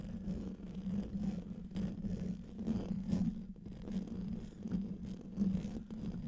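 Fingertips and short nails scratch the hollow, domed metal mesh grille of a large silver condenser microphone. Close, rough scratching and rubbing rise and fall in uneven bursts, heavy in low rumble with a steady tone near 190 Hz. There is only a faint brighter edge.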